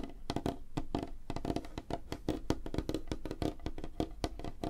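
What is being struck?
Light wooden tabletop.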